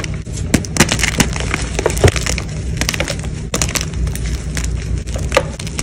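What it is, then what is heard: Gym chalk block being crushed. Solid white gym chalk blocks are broken and crushed by fingers with blue nails, with chunks and powder landing in a tray. A fast stream of dry, crisp snaps and crumbling crunches with bright, gritty detail rides over a steady low rumble. Sharper cracks stand out around 0.5, 2.0 and 3.5 seconds.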